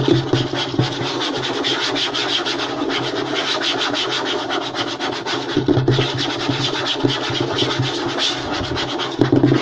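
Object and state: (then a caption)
Light wooden tabletop being scratched. Short nails and fingertips scratch and rub fast across a flat, light wooden tabletop. The result is a dense, continuous rasping texture with a steady low hum, bright scratchy hiss, and a few sharper accents along the way.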